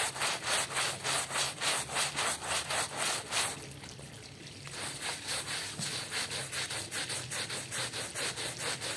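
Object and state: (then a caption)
Woven textile rug being scrubbed. A small, dark, patterned woven rug covered in foam is scrubbed with a small hand brush by yellow-gloved hands. Rapid, rhythmic, bright, scratchy brush strokes repeat about three to four times per second, pause briefly into a quieter wet hiss, and then resume at the same pace.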